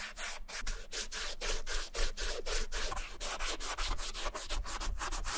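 A cotton ball held in metal tweezers is rubbed quickly back and forth across the beige suede leather upper of an Adidas Superstar sneaker, near the logo, while the shoe is held by hand and partly covered with yellow masking tape. Each stroke makes a soft, bright brushing swish over a steady low hum.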